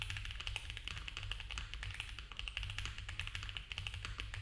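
Both hands type fast with fingertips on a compact, foam-filled mechanical keyboard with cream ABS keycaps, a polycarbonate plate and a dark case. The result is a dense, steady stream of quick, overlapping plastic clacks centred around 2.5 kHz, with a bright edge. A constant low hum runs underneath the typing.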